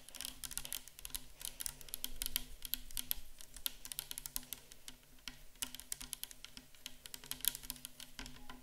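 Long acrylic nails tap quickly and irregularly on a clear 500 ml plastic micellar water bottle, full of liquid and standing on a table. The taps are short, bright clicks with almost no ring, over a steady low hum.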